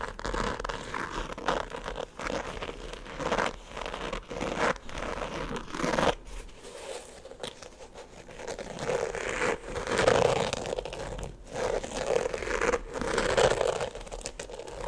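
A single black glitter-covered sneaker with white laces and a thick white rubber platform sole, held close to the mic, is scratched and tapped by fingertips and nails on the glitter upper and the sole. A continuous dry crinkling, crunchy scratching fills the clip, with a mid-range tone around 490 Hz and denser, louder bursts after about 9 seconds.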